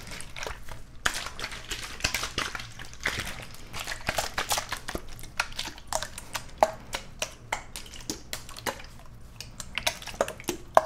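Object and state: Plastic water bottle.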